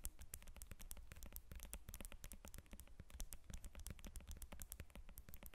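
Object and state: Lemon.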